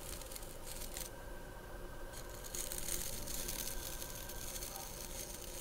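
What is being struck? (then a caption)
Wooden body brush with natural bristles. Long nails scratch across the natural bristles and wooden back of a handheld wooden bristle body brush with a wooden handle. The result is a steady, dry, crackling scratch with bright, rustling bursts that rise and fall over a low background hum.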